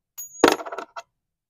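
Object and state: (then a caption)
Counterfeit silver bullion coin, fake. A counterfeit American Silver Eagle bullion coin, likely copper or copper-nickel and already failed on a Sigma tester, is given a ping test. It makes a few short, dull clattering taps centered around 470 Hz that die away almost instantly with no sustained ring, marking it as fake rather than silver.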